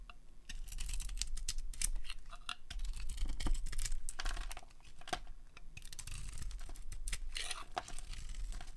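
A solid white dry soap bar with a blue and glitter painted coating is held in the hand and carved with a metal utility blade, peeling off white curls. Dense, irregular dry scraping and crackling strokes come in quick bursts with bright, crisp edges over a steady low rumble.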